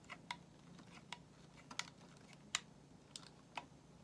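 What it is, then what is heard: Bar of soap being shaved. A solid white bar of soap, held in the hand, is shaved with a metal utility knife blade. A series of short, bright, crisp scrapes and ticks come at irregular intervals over a quiet, steady low hum, each one dying away almost at once.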